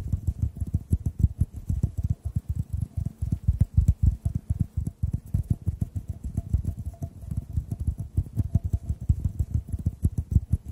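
A clear, hollow, empty glass tube about 15 cm long is held horizontally above the mics and tapped with bare fingertips in fingerless gloves. Dozens of soft, quick taps land in a steady, uneven patter for about ten seconds. Each tap is a short, deep, muffled thud with almost no ring, and a faint thin tone sits above the taps.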